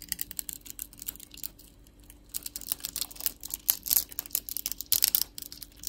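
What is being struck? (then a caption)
Bar of soap scraped with a metal blade. A metal box-cutter blade scrapes across the cross-hatched surface of a solid, palm-sized orange soap bar held in the hand, flaking off small cubes. Rapid, crisp, bright scratching clicks come in dense bursts, with a quieter gap early on before the scraping grows louder and busier. The flakes break away with sharp, dry crackles.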